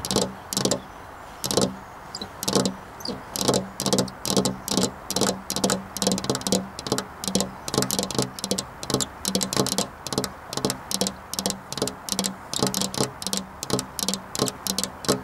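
Long black nails tap a flat glass window pane in a steady, quick rhythm, about 45 sharp clicky taps over 15 seconds. Each tap is bright and brief with a faint low tone around 195 Hz and dies away almost at once.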